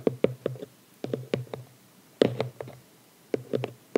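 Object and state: Cardboard gift box.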